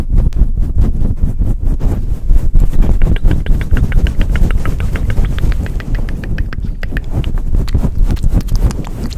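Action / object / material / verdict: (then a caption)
scrape / faux-fur microphone windscreen / faux fur / none. Fingers of both hands rub, scratch and pat a soft, hollow grey faux-fur windscreen on a silver microphone. The result is a dense, irregular stream of deep, muffled thumps and scuffs, about four per second, with almost all the energy in a low rumble. Faint brighter scratchy ticks sit on top.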